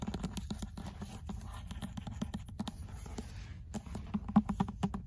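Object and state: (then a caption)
Paperback book tapped with nails. Long acrylic nails and fingertips tap and scratch the cream paper cover of an old, closed paperback of Sartre's "L'être et le néant" held in the hand. A steady patter of soft, dull, quick taps mixes with a papery scratching. A few sharper, louder taps stand out near the end.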